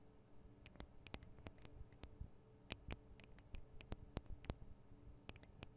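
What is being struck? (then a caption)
Metal-housed microphone capsules. Long acrylic nails tap on both small metal-housed X/Y microphone capsules of a handheld Tascam DR-40 recorder, and the tapped capsules are also the ones recording. Quick, irregular, dry clicks with no ring stand out as sharp, bright spikes over a quiet, low, bassy rumble.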